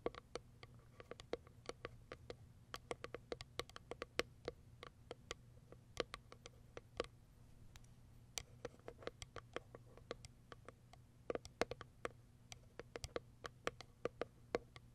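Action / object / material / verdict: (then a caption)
tap / small cardboard box / cardboard / none. Long white acrylic nails tap the top of a small, closed, hollow white Kiara Sky cardboard product box resting on faux fur. The result is a long, irregular run of quick, dry, clicky taps with a hollow tone around 470 Hz. Each tap dies away almost instantly over a faint low hum.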